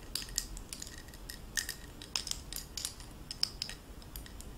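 A link necklace of oval faceted blue stones set in gold-tone metal bezels is handled and clinked with fingertips and long nails. A steady run of quiet, bright, tinkly clicks and clinks sounds over a soft low background hiss, each one dying away almost at once.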